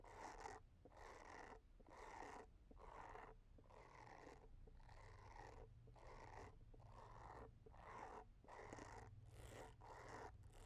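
A small white plastic facial cleansing brush with a short handle and a round head of dense white bristles is held in one hand while long dark-painted nails scratch and tap its body and bristles. The result is a run of scratchy, rustling bursts separated by brief quiet gaps, bright and crackly across the upper range over a steady low rumble underneath.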